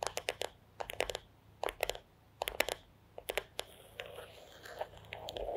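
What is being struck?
Wooden back of a paddle hairbrush.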